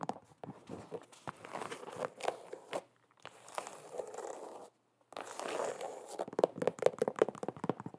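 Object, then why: Leather sneaker. An empty black and white low-top leather sneaker with a rubber sole is held in the hands while long nails tap and scratch its smooth leather upper. Quick dry taps and crackly scratching bursts are heard, separated by brief silent gaps. Near the end, a few short tonal squeaks sound around 500 Hz.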